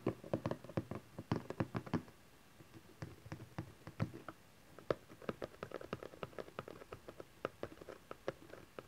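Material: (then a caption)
Cardboard. Fingertips and nails tap quickly on the top face of a small cardboard camcorder box resting on satin fabric, and then hands hold its sides. The taps are soft, dry and muted, with short hollow knocks centred in the low-mids and almost no ring. Bursts of tapping are separated by a brief quiet gap in a quiet room tone.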